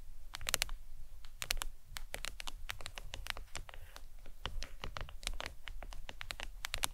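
Long pointed acrylic nails tap and lightly scratch the back of a flat smartphone lying face down in a glossy leopard-print plastic hard case on a towel. Quick, dry, bright clicks come in uneven rapid bursts with very short decay, over a soft low rumble and faint scratchy texture.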